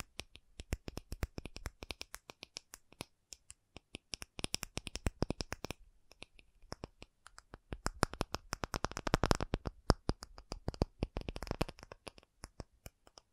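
An acrylic object is tapped in quick, uneven bursts of sharp, dry clicks. Each tap dies away almost at once, with a low thud under a light, bright edge. The taps come in dense clusters separated by brief pauses.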